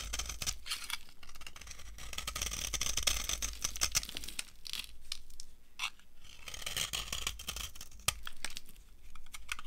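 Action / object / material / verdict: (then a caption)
scrape / bar of soap scraped with a metal knife / soap / none. A metal knife scrapes a solid, dry yellow soap bar, shaving off crumbly pieces. Dry, crunchy scraping and crackling come in bright, gritty bursts over a low background rumble, with a sharper snap near the end.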